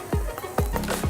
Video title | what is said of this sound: Meet the Chef St Pete - Bodega | can hear that breads nice and toasted but it's still moist on the inside